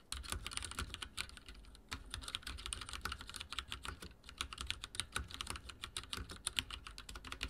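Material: Plastic.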